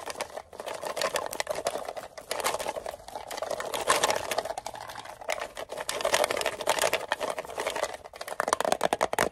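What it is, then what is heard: Metal mint tin tapped with fingernails. A small, closed, hollow green-and-white rectangular metal Altoids mint tin is tapped rapidly with fingernails. It gives a dense stream of fast, sharp clicks with a metallic ring around 1 kHz and bright high edges. The tapping comes in uneven bursts that swell and ease across the clip.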